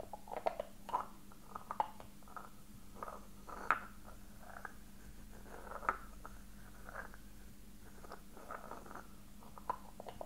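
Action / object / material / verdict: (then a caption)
tap / small metal box with raised filigree / metal / none. A small, hollow, silver-coloured metal box with raised floral filigree, held at its edge with contents not visible, is tapped and scratched with fingertips and short nails. Quiet, soft taps with brief, dull rings around 1 kHz mix with light scratching, over a steady low hum. A few taps stand out louder than the rest.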